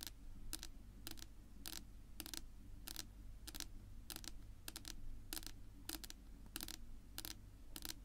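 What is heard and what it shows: Long pink nail tips tap slowly on a flat, solid, dark wood-grain tabletop. Each tap is a short, dry, bright click with almost no ring, spaced at a steady, unhurried pace. A constant low hum runs underneath throughout.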